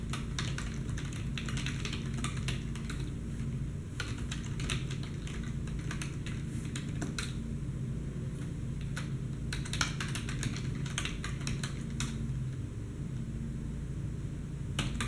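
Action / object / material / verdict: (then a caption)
tap / plastic computer keyboard / plastic / none. Fingertips with painted nails type in a fast tapping pattern on the keys of a black plastic desktop keyboard with a padded wrist rest. Quick, short, bright clicks run continuously over a steady low hum throughout.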